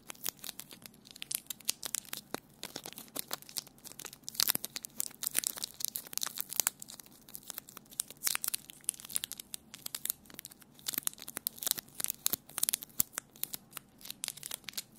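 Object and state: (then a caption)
Crumpled sticky tape ball, crinkling. A small, hollow, palm-sized ball of crumpled clear plastic sticky tape is squeezed and rubbed between fingertips and nails. It gives a steady stream of quiet, dense, bright crinkles and crackles mixed with sticky peeling sounds. There is almost no low end, and each snap dies away instantly.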